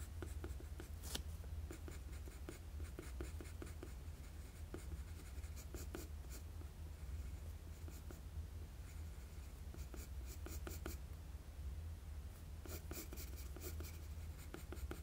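A wooden graphite pencil makes short sketching strokes on a flat sheet of drawing paper. Quick, dry scratches with bright, hissy edges come in bursts over a steady low hum that holds at a constant quiet level throughout.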